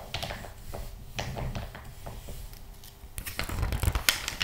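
Fingertips rub and stroke across the glossy printed pages of an open interior-design magazine lying flat on a knitted blanket. Soft papery swishes and brushing scrapes come in quick, uneven strokes, with brighter crackling sweeps and a few sharper crisp ticks near the end.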